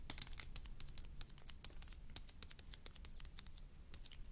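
A small rectangular printed cardboard box of Mamba chews, hollow and apparently still holding wrapped chews, is held in both hands and tapped and scratched with medium-length fingernails. Quick, dry crinkly clicks and scratches with bright, high-reaching transients come in a dense, irregular stream over a faint low rumble.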